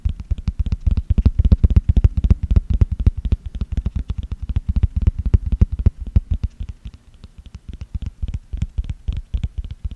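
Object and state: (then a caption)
Plastic jar lid, tapped and scratched. A small, round, green plastic screw-top jar lid with a ridged edge, hollow and empty, is held in one hand near the microphone while the fingertips and nails of the other hand scratch and tap its top and ridged rim. The result is a rapid, irregular stream of short, dull, low thumps with almost no ring, under faint scratching. It continues steadily for about ten seconds.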